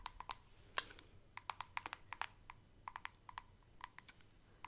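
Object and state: Plastic cosmetic jar.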